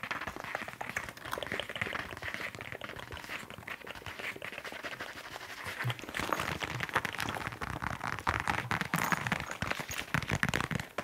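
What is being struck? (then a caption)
Leather surface. Fast, aggressive tapping on a leather surface produces a dense stream of quick, dry taps with almost no ring, centered in the midrange. The tapping grows louder and busier about halfway through, then fades at the end.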